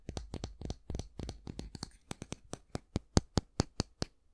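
Fingernails scratch and tap along the long flat handle and back of a solid, light wooden bristle brush. The first half is a quick run of dry, scratchy strokes, followed by a steady series of crisp, short taps with a low knock and a bright click that stop dead with no ring.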